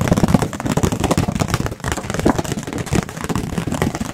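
A round white disposable plate, likely paper, thin and hollow-backed, is held up close to microphones and tapped very quickly with fingertips and nails. The result is a dense, continuous flurry of short, dry, dull taps with a hollow low body around 200 Hz, little high-end brightness and almost no ring after each tap.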